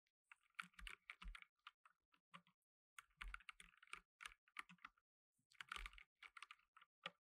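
Fingertips in blue nitrile gloves type on a black tenkeyless mechanical keyboard with plastic keycaps. The quiet, dry clicks come in three bursts separated by short pauses, with bright key clatter and a soft low thump beneath.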